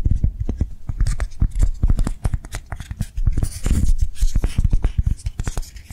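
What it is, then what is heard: Foam lollipop toy. Long nails quickly tap and scratch a hand-sized, soft blue-and-white foam swirl lollipop toy with a ribbon and stick, held in one hand. The result is a steady, fast patter of dull, low, muffled taps mixed with soft scratchy brushing, each tap dying away almost instantly.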